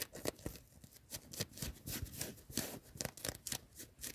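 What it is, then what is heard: Cotton hoodie fabric being scratched. Long nails scratch and rub the chest and then the sleeve of a worn yellow cotton hoodie in a car. Fast, irregular bursts of bright, scratchy fabric noise come one after another, with brief quiet gaps between strokes.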